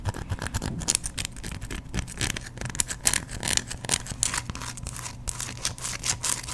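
A solid, hand-sized white bar of soap is scratched with fingernails and moved close to the microphone. The result is a dense run of dry, bright scraping and crackling with a low hum underneath, the strokes packed too tightly to count.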